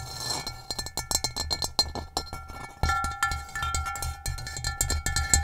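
Long nails tap and trace across the textured surface of an upside-down, hollow, gray rough ceramic bowl. The result is a rapid stream of short, bright clicks and scratchy taps over a low, hollow thump, with faint steady ringing tones underneath. The sound grows fuller and louder partway through.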